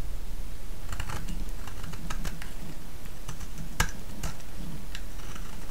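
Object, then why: Solid bar of soap cut with a blade. A small solid pink bar of vintage soap is held in the fingers and shaved with a utility-knife blade. Crisp, bright scraping and cutting ticks repeat over a steady low rumble.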